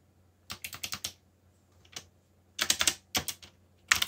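Fingertips type on a backlit mechanical keyboard with black plastic keycaps, producing about 14 short, bright clacks in quick irregular bursts separated by brief pauses. Each keystroke is crisp and dies away almost instantly, over a faint low hum.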